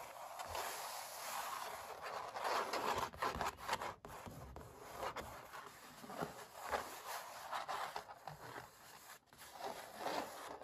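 Short dark-painted fingernails and fingertips scratch and rub the textured paint of a large stretched-canvas oil painting of puppies, its thin taut fabric over a hollow frame, with a metal butterfly ring worn on one hand. The result is a dry, papery scratching and rubbing with a bright hiss, coming in uneven strokes and bursts that swell and fade throughout.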